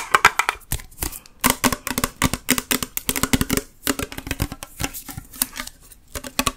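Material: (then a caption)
Tinplate steel. Long nails tap quickly on the side and bottom of a full metal Campbell's Chunky soup can with a paper label. The result is a steady run of short, bright, clicky taps with a light metallic ping around 1 kHz and a faint low hollow body tone. Each tap dies away almost instantly.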